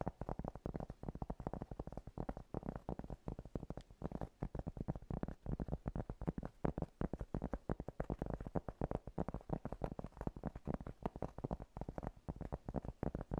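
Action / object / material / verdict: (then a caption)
tap / piece of cork / cork / none. Fingernails tap rapidly and steadily on a piece of cork, producing a dense stream of soft, dull clicks. The taps are short and dry with almost no ring, and their sound sits mostly in the low range with little brightness.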